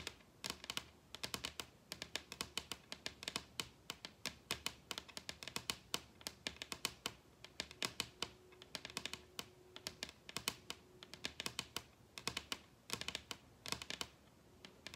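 Long red nails on both hands tap rapidly across a large solid wooden table top, making a quick, continuous run of short, bright, clicky taps with almost no ring. A faint steady tone hums underneath partway through.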